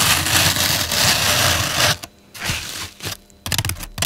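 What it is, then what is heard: Floral foam block being scratched. Long pink nails and fingertips press, scratch and rub the top and sides of a large solid block of turquoise-green floral foam on a table. A dense, bright, crackling scrape runs for about two seconds, then stops. A shorter scratchy burst follows, then a quick run of crisp crunching taps.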